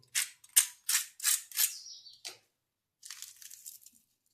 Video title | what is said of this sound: 🐟कमी साहित्याची मच्छी फ्राय - घरगुती स्टाईल 🌶️मसालेदार मच्छी फ्राय 🦈 - Marathi Fish Fry Recipe | आवाज एकदम कुरकुरीत आवाज येतोय